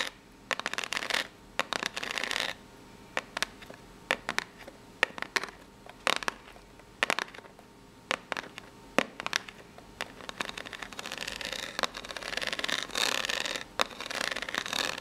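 Long nails of both hands scratch the ribbed face of a small, hollow brown corrugated cardboard box held up in the air. The result is dry, bright rasping in short bursts and quick taps, with longer sustained scratching passages near the start and toward the end, over a quiet background.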